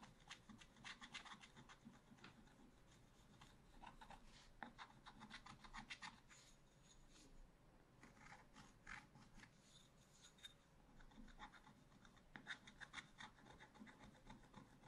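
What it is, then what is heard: Scratch-art paper being scratched. A pointed wooden stylus scratches lines into the black coating of a flat scratch-art paper page. The result is quiet, bright, rasping scratches in quick bursts of short strokes, separated by brief pauses.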